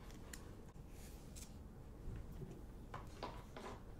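A large, solid pink Himalayan rock-salt lamp on a wooden base is held close to the mic and scratched and tapped with long acrylic nails. Quiet, dry scratching and light tapping come through as short, bright, crackly bursts over a steady low rumble, with no ring after each touch.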